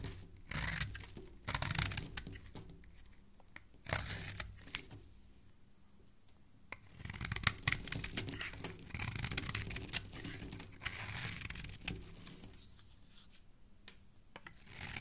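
A black metal blade repeatedly scrapes a solid, hand-sized white rectangular bar of soap held in a hand with dark painted nails, curling off fluffy shavings. The strokes come as irregular bursts of bright, dry scraping and crackly shaving noise, with brief quiet pauses between them.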